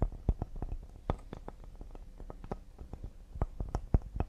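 A cedar wood serving board is tapped quickly and delicately with the fingertips. The result is a rapid, uneven patter of soft, dull, low knocks that die away almost instantly, with an occasional slightly firmer tap standing out.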